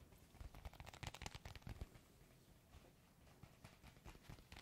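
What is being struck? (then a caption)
Sealed plastic sachet. A flat, sealed, clear plastic foot-mask sachet with a printed card inside is held in both hands and crinkled and rubbed with the fingertips and nails. A rapid series of short, dry crinkles and taps, louder and denser in the first two seconds, then quieter rustling with a few sharper bright crackles toward the end.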